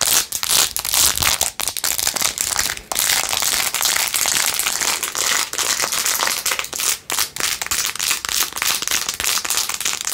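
Long acrylic nails rapidly scratch and tap the blue acrylic rhinestones and edges of a handheld clear/white plastic phone case with a metal ring holder. The result is a dense, continuous stream of bright, crisp clicks and scratchy crackles, with almost no low end and only brief dips between bursts.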